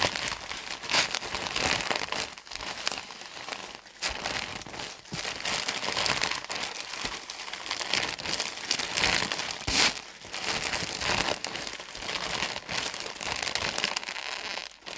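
Hands and fingertips squeeze, scratch and crinkle a large plastic film package full of cotton pads. The result is a continuous, bright, dense crinkling and rustling with almost no low end, rising and falling in bursts with brief quieter pauses.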